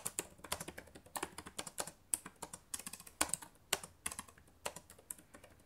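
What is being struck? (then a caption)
Plastic laptop keyboard. Rapid typing with fingertips and long nails on the plastic keys of a black laptop keyboard. It makes a quick, uneven stream of sharp, bright clicks that die away almost instantly, with brief pauses between bursts.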